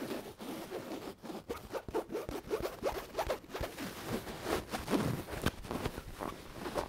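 A soft, stuffed white cotton cat-shaped pillow with a cat print is squeezed and scratched with long nails. The result is a steady run of quick, dry scratching and rustling strokes, muffled and mostly low-to-mid in tone, with brief zipper-like rasps and soft fabric rubbing.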